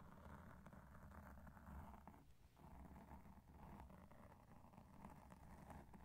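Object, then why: Foam microphone windscreen rubbed with cotton swabs. Cotton swabs held in both hands rub and scratch the porous surface of a black foam microphone windscreen. The result is a soft, steady, muffled rustling and scraping with a deep low rumble, heavy in the bass and nearly without bright highs. The texture thins briefly around the middle before the scratching continues.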